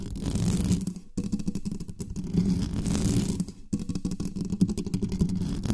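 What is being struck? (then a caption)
Metal microphone body. Long nails rapidly tap and scratch the lower sides of an uncovered black studio microphone with a metal body. Close up, this comes across as a dense, boomy, low rumble of quick scrapes and thumps centered near 176 Hz, with almost no high end. The rumble breaks off briefly twice before resuming.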